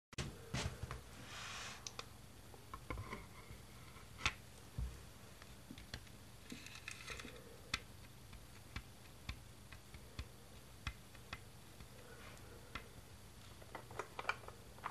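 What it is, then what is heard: Plastic Lego baseplate. Fingertips tap and scratch across the studs of a large, thin, solid, flat green plastic Lego baseplate lying on a tiled floor. Quiet, sharp, bright clicks and short scratchy rubs are scattered irregularly over a steady low hum, each tap dying away almost instantly.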